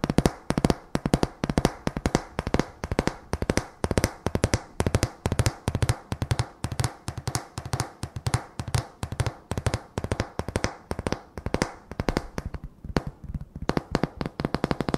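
Stacked, solid, painted wooden plank signs held in the hand are tapped and scratched with fingertips and nails. The result is a dense run of quick, dry, woody knocks with a low, hollow body around 160 Hz, broken by brief scratchy passages.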